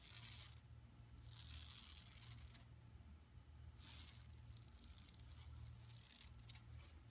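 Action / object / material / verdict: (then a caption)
scrape / woven plastic mesh shopping bag / plastic / none. A flat, empty yellow woven plastic mesh tote bag lying on carpet is scratched and rubbed with long nails. Bursts of bright, papery rasping swell and fade in waves over a steady low hum.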